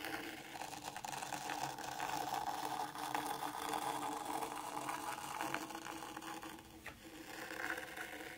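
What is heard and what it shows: A small wooden mini rake, held in a hand with long nails, is drawn back and forth through fine white sand in a black round tray, making lines. It gives a steady, grainy scraping hiss centered in the midrange with some bright grit. The sound briefly softens near the end before picking up again.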